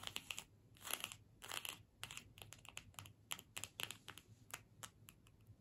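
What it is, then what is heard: Cardstock gift tag scratched. A small, flat cardstock gift tag with a holly print, held in both hands, is scratched with long pointed nails. The result is a quick, irregular run of dry, bright scratching and crinkly rasps, each dying away almost at once, with some longer scraping strokes mixed in. It is quiet overall and has almost no low end.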